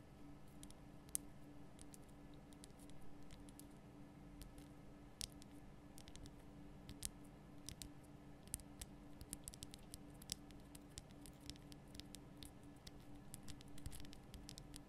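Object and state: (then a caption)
Himalayan salt lamp. Long painted nail tips tap a large, solid, lit pink rock-salt Himalayan salt lamp, making quiet, sharp, bright clicks that come in irregular, rapid flurries. The clicks die out instantly and sit over a steady low hum throughout.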